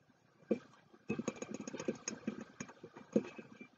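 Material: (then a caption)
Ceramic. Fingertips and short nails of both hands tap the sides of a hollow, medium white ceramic mug with a tea bag tag hanging from it. A lone tap is followed by a quick run of light, clicky taps with a tonal knock around 220 Hz. Each tap dies away almost at once.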